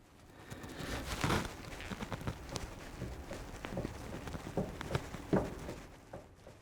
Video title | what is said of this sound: Pitman and Idler Arm Replacement to get Show Ready! - RA28 Fastback Celica (Part 16) | you can actually hear the knock so that one's no good